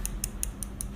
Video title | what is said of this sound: Lipsense Demo | almost like a nail polish ball you know when you buy a new bottle of nail polish it has that little ball in it